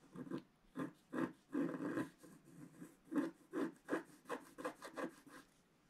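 A wooden stylus is drawn in long strokes across a flat, black-coated scratch-art card. It makes a series of dry, raspy scratching bursts with a papery grit centred in the low-mid range. The strokes come in an uneven rhythm, each ending quickly, with quiet gaps between them.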